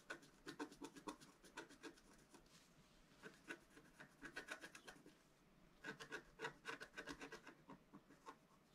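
A pointed wooden stylus held in the fingers scratches a flat, roughly A4 scratch-art sheet, black-coated over rainbow foil, lying on a table. Quick, dry, raspy strokes come in three bursts separated by short quiet pauses. Each stroke is a brief thin scrape with a bright edge and no ring.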